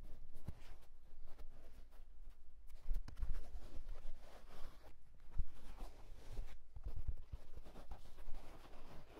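A wool tweed fedora is handled and tilted while fingertips scratch across its fabric crown and brim. The result is a quiet, continuous dry scratching and rustling with soft, muffled bumps over a low rumble.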